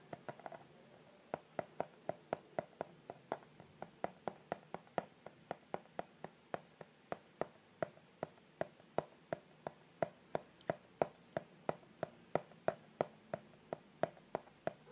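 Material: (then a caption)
Cardboard. Fingertips tap on the front face of a hollow white Victoria's Secret cardboard gift box held upright and slightly tilted. A steady run of short, dry, hollow taps follows, each with a faint mid-pitched knock that dies away almost instantly, at roughly three taps per second over a quiet background.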